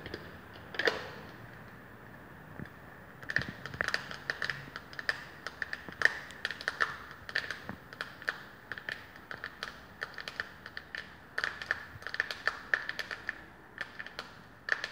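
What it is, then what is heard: Plastic powder compact. Long painted fingernails tap and scratch a small round plastic makeup compact, hollow with pressed powder inside, held in one hand. A quick, irregular run of dry, clicky taps carries a faint bright tick, with soft scratching between them. Each tap dies away almost instantly.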